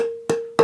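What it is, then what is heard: Resonant seasoned spruce tonewood. A billet of spruce tonewood, dried for about 30 years and cut like a slice of cake from the trunk, rings out when handled, sounding twice. Each sharp attack is followed by a steady mid-pitched ring that slowly fades, showing the wood is well seasoned and ready.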